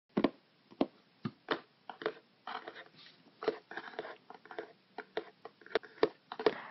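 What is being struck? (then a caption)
Small closed cardboard box. Fingertips and nails tap and scratch the top and sides of a small, closed, hollow printed cardboard subscription box with a shipping label. Sharp, dry taps with a short hollow knock alternate with brief rustling scratch strokes. The taps die away almost instantly, with quiet gaps between them.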